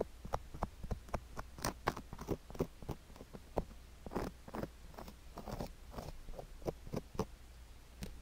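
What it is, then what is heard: Sugar granules scraped on a silicone ear microphone. A thin wooden stick scratches near the canal and along the rim of a silicone ear microphone covered in sugar granules. The result is a rapid series of sharp, dry crunching and scraping clicks, many brief taps in uneven rhythm, with a faint steady low hum underneath.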